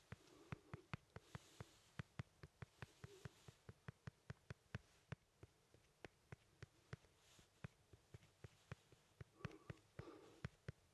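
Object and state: Lemon.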